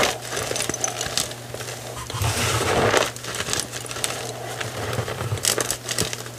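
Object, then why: Block of gym chalk (magnesium carbonate). Fingertips with painted nails crush and squeeze a dry, solid pile of white gym chalk block (magnesium carbonate), broken into chunks and powder on a wooden table. Dense, gritty crunching and crackling fill the clip, with a thicker, louder grind around the middle over a faint low hum. The chalk crumbles further under the pressure.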